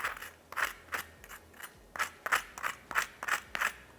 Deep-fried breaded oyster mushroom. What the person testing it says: just listen how crispy this is